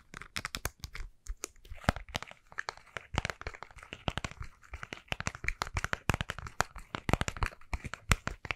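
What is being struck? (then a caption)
Plastic cosmetic squeeze tube. Fingernails tap quickly on the round cap of a white plastic cosmetic tube, then both hands squeeze and crinkle the tube. The result is a dense stream of sharp, dry clicks and crackly crinkles, each one short and bright with a low thump underneath.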